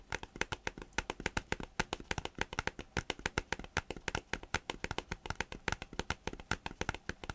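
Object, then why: Thin plastic folder. Fingertips and nails tap and rub the surface of a thin green plastic folder held upright. Around fifty quick, dry taps arrive in a fast, steady stream, each a short, bright click with a soft low thump and no ring.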